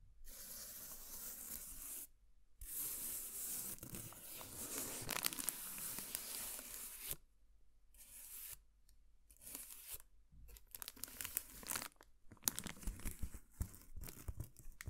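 A large, hollow, heart-shaped cardboard gift box is held in one hand and scratched and tapped with nails and fingertips. Long, bright, rasping scratches come in bursts separated by short silences. Toward the end, quicker, sharper dry taps and flicks take over.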